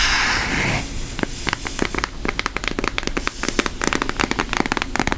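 Long nails tap fast on a flat, thin orange cardboard eyeshadow palette printed with a cartoon face. After a brief soft, breathy wash, a quick run of crisp, dry clicks follows, each sharp and bright with almost no ring.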